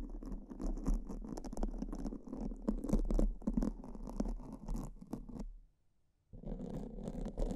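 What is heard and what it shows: Pink silicone spoolie brushes, held between fingers with long purple nails, scratch black foam microphone windscreens. The result is a dense, fast, irregular bristly scratching over a deep, muffled rumble. The scratching stops for nearly a second toward the end, then starts again.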